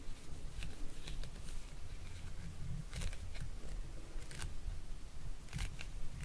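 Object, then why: Hand-held hard plastic neck massager. Fingernails tap and scratch the flat surface of a solid, hand-sized lilac hard plastic neck massager held in the hands. Sharp, bright clicks and scratchy strokes come through in short bursts over a steady low rumble, each tap dying away almost instantly.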